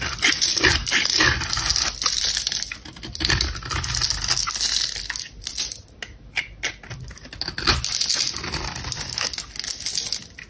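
A metal box-cutter blade, held in a hand with long black nails, scrapes and carves shavings off the edge of a palm-sized solid red bar of dry soap with a diamond-textured top. Dense, bright, crisp scraping and crumbly crackling run in rapid irregular strokes, easing to a quieter stretch near the middle before picking up again.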